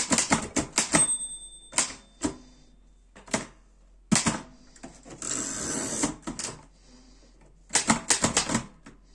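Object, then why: Metal portable typewriter. Fingertips type on the keys of a black metal Erika 5 portable typewriter, producing bursts of sharp, bright metallic key strikes with short, dry decays. Early on, a clear high bell-like ring sounds, and midway a longer rasping, sliding mechanical whir is heard before another quick flurry of keystrokes.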